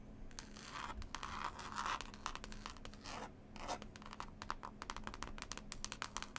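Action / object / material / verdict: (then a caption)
scrape / cloth-covered hardcover book / cloth, board / none. Several long pointed nails rapidly scratch and tap on a solid, closed hardback book with a green textured cloth cover and a picture label. Dry, bright scratching bursts mix with quick, sharp taps that die away almost at once, over a faint steady low hum.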